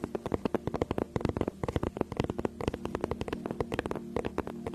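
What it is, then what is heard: Faux leather tablet case. Long nails rapidly tap and scratch the front of a flat, rigid teal faux-leather tablet case held in both hands behind the mic. About thirty short, dry clicks come in quick uneven bursts, with soft scratching between them over a steady low hum.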